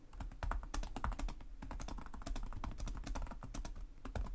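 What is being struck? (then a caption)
Plastic laptop keyboard. Both hands type rapidly with short-nailed fingertips on the plastic chiclet keys of a black laptop resting on a desk. Quick overlapping taps form a steady clatter, each with a dull low thud and a bright, crisp click that dies away almost at once.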